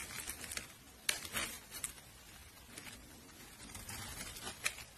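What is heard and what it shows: A metal blade shaves curls off the top surface of a solid, palm-sized, opaque pink soap bar with a red rim held in hand. The sound is a quiet, bright, crisp scraping and crackling in short bursts, with a few sharp ticks that stop almost instantly.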